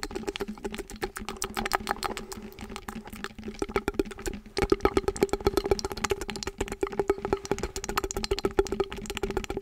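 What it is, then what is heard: Foam roller tapped and scratched. Fingertips rapidly tap and scratch the outer foam knobs of a hollow blue foam roller with a visible tan hard core, held with its open end toward the mic. The taps make dense, dry, short clicks with a hollow resonance around 390 Hz and a lower tone near 200 Hz. The pace picks up after about four and a half seconds.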